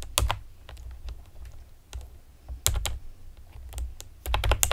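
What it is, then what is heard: Plastic computer keyboard being typed on. Long painted nails and fingertips tap rapidly on a pastel plastic typewriter-style computer keyboard with round retro keycaps and hollow keys. Bright, sharp clacks sit over a low, hollow thump, with louder bursts at the start, in the middle and near the end, and quieter taps in between. Each click dies away almost instantly.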